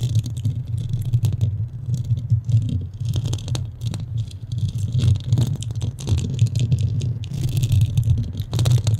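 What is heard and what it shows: Long nails on both hands scratch a porous black foam microphone windscreen. This produces a continuous low, muffled rumble centered near 113 Hz, with brief bright crackly rasps flickering over it. The scratching stays dense and steady throughout the clip.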